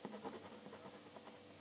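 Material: Nothing is struck.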